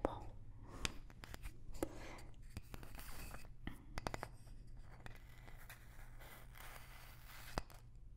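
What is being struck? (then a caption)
Small light wooden block. A small, light wooden block held close to the mic is tapped with long nails. Sharp, dry clicks with almost no ring come at irregular intervals over soft scratchy rustling and a steady low hum.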